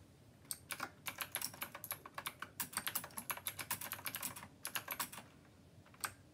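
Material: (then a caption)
Plastic. Both hands type continuously with their fingertips on a full-size, black glossy plastic, typewriter-style Rymek mechanical keyboard with round copper-colored keycaps, resting on a white desk. A quick, steady run of sharp, bright clicks and clacks is heard, each dying out almost at once. The typing pauses briefly near the end, then a few final keystrokes follow.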